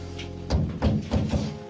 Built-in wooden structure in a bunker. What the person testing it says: Ça fait beaucoup de place perdue, non? Ça sonne creux.